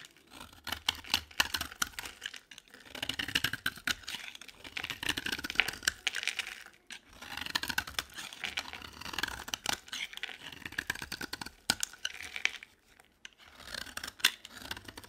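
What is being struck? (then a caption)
Bar of soap. A solid rectangular bar of dry white soap is held in the hand and scraped with a utility knife blade, shaving off powdery flakes. Quick, dry, bright scratching strokes come in dense bursts with brief pauses between them, crisp and close with little low end.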